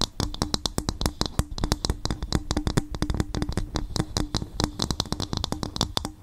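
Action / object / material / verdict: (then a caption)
tap / coconut shell bowl / coconut shell / none. Fingers tap and scratch rapidly on a bowl made from coconut shell, making a steady stream of short, dry knocks. Each hit has a low, woody thump with a faint hollow tone and bright clicky edges, and dies away almost at once.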